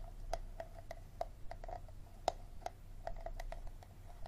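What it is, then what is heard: Empty plastic bottle. Fingernails scratch and tap the ribbed, textured base of an empty clear plastic water bottle held in both hands. Quiet, irregular clicks and short scratches each carry a faint hollow ring around 700 Hz with brief bright edges, over a low steady hum.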